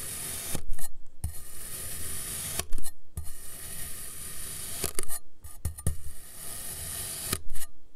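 A metal knife blade repeatedly slices through a solid dome of green kinetic sand resting on a teal surface. Each thin slice crumbles and falls apart with a soft, grainy crunching and scraping hiss. Brief quiet pauses separate the cuts.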